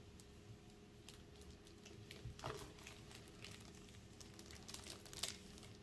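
Black-gloved fingers hold and turn an Elden Ring Launch Edition PS5 game case, a small hollow plastic box still sealed in thin clear plastic film, rubbing and squeezing the film. The result is a quiet, bright crinkling and soft pattering over a faint steady hum, with sharper crackles near the middle and just before the end.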